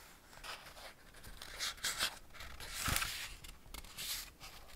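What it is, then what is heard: Hardback paper picture book. Fingertips rub and scratch the printed paper pages of an open Ladybird hardback picture book, *Man and His Car*, and turn them. Soft, bright, dry rustling and scratching rise and fall throughout, with a louder crisp swish of a page turning near the middle.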